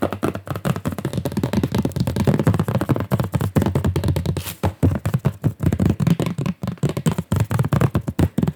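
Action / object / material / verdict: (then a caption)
tap / stretched cotton or linen canvas on a wooden frame / canvas / none. Fingers tap and knock rapidly on gesso-primed stretched art canvases of different sizes, some cotton and some linen/cotton, on wooden frames. The sound is a fast, dense run of short, dull, drum-like thumps, mostly low in pitch with almost no ring.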